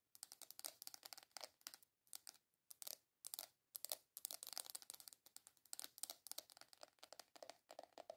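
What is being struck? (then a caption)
Small round plastic container. Long nails rapidly tap and scratch the top surface of a small, hollow, round black plastic container. The result is a fast, irregular stream of dry, bright clicks mixed with scratchy rasps, with almost no low end and very little ring. Short pauses break up the bursts.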